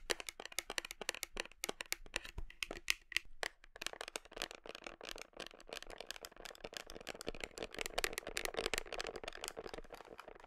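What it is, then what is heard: Plastic protein tub. Long nails tap and scratch the label and plastic side of a large black plastic whey protein tub held against the body. A rapid run of sharp, bright, dry clicks is heard, with softer scratchy rustling beneath them that thickens toward the end.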